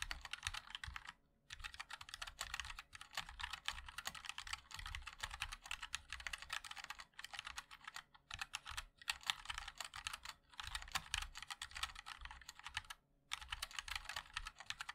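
Fingertips of both hands type continuously on a compact 60% mechanical keyboard with a black case, white and black plastic keycaps and linear switches. Rapid, bright clacky keystrokes run in dense bursts separated by short pauses. Each tap is short and sharp.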